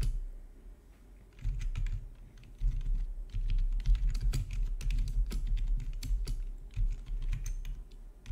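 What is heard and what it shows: Fingertips type on a full-size black plastic RGB backlit gaming keyboard with a hollow housing, resting on a marble surface. After a quiet first second, irregular bursts of quick key taps begin, each pairing a low, hollow thud with a short bright click. The taps come in uneven flurries with brief lulls between them.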